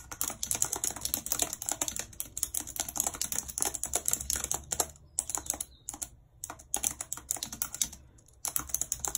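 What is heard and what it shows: Long red nails type on a white plastic computer keyboard, tapping the hollow plastic keys in a rapid stream of bright, sharp clicks. The typing stops briefly a few times before continuing.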